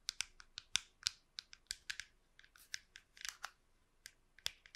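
Long pink nails tap and scratch the top shell of a small, hollow, silver-grey plastic wireless computer mouse held in one hand and moved near the microphone. About seventeen quick, bright, dry clicks come in an irregular rhythm, with short scratchy brushes between them. Each click stops at once with no ring, and there is almost no low end.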